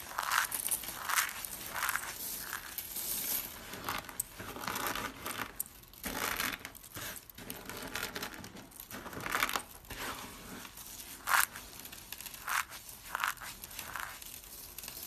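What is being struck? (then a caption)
Soap flakes. A pile of small pink and mint dry soap flakes is pressed flat by palms while fingers scoop and crunch them. Dry, crisp crunching and crinkling come in bright bursts, with a few sharp crackles standing out over a steady rustle and almost no low end.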